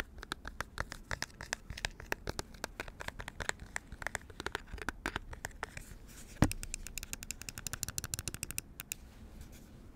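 Fingernails scratch and tap the smooth top surface of a small white computer mouse with a hollow plastic shell, held in the hands. A steady run of quick, dry clicks and faint scratches rings out with almost no decay, and one sharper, louder tap lands just past the six-second mark.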